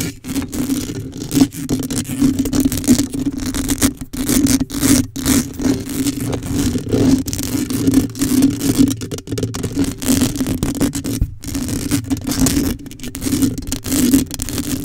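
Long pink acrylic nails on both hands scratch and scrape across the large, hollow, dome-shaped black metal mesh grille of an uncovered USB microphone. The result is a dense, continuous rasping and scratching texture over a steady low hum near 250 Hz, rising and falling in loudness with brief dips throughout.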